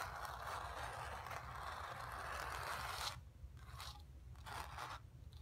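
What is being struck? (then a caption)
Painted cotton canvas. Long nails scratch quickly across a stretched, painted cotton canvas sphere, making a steady, bright, raspy scraping for about three seconds. The scratching then breaks into shorter, separate scrapes over a faint low background rumble.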